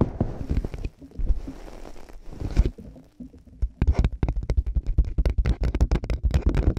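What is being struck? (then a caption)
Plastic over-ear headphones on a microphone. White plastic over-ear headphones with hollow earcups are fitted over the ears of a binaural microphone, and the earcups are tapped with long nails and fingertips. Deep, hollow thumps come in a quick, uneven run, with a quieter, softer rustling stretch in the middle before the tapping returns faster and denser.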